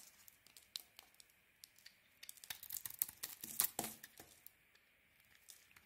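A metal blade shaves a solid white bar of soap with a grey and red coating, scraping off curls. Sparse, quiet, bright crackling ticks build into a denser burst of crisp, hissing scrapes in the middle, then thin out again to occasional faint clicks.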